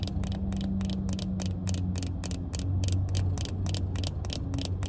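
Long red-painted nails tap and scratch a small pair of hollow black plastic-frame sunglasses with tinted lenses held in the hand. The result is a fast, even run of sharp, bright clicks over a steady low hum.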